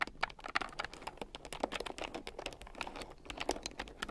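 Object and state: Plastic keyboard with round keycaps.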